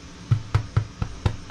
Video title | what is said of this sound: TwistyBakes Bloomer made in Ankarsrum Assistent | knock it it sounds hollow which would indicate that it's done